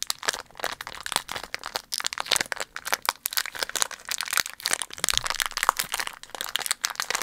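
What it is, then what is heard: Foil candy wrapper. A small, empty, loosely crumpled green printed foil candy wrapper is squeezed and crinkled with the fingers right next to the mic. It makes a dense, continuous run of sharp, bright crackles and crunches that stop instantly, with almost no low end.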